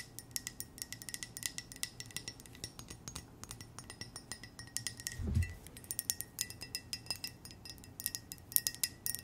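A white ceramic coffee mug with a small red heart pattern and a red heart-shaped handle, hollow and empty, is held near the mic and tapped with long nails. It gives rapid, light clicking taps with short, bright chime-like rings. A brief low thump sounds midway through.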